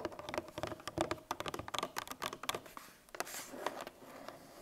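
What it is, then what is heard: Cardboard milk carton. Long painted nails tap quickly on the top face of a 1 L Tetra Pak milk carton made of laminated paperboard, lying on its side on a table and likely full. About 22 short, dry, hollow clicks with a slight mid-range ring come in irregular bursts. A brighter scratchy rustle follows before fading out.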